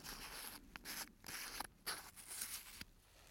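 Fingers tap the silver metal cap and sides of a small, clear, hand-held plastic bottle full of blue beads or granules, and a gloved hand rubs it. The result is a quiet, bright, scratchy rustling broken by several short, sharp clicks that stop almost instantly.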